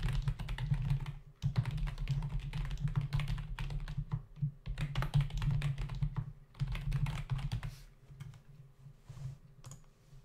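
Fingertips of both hands type rapidly on a full-size black plastic membrane keyboard with hollow keys, resting on a dark desk. Dense bursts of dull, hollow clacking taps with a low thump run in short spells separated by brief pauses. The typing grows lighter and sparser toward the end.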